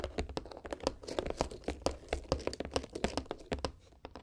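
Long nails tap and scratch across the lid and red ribbon of a small, hollow white cardboard gift box. A quick, irregular run of dry, papery clicks and light scrapes sits over a faint low hum, each tap dying away almost instantly.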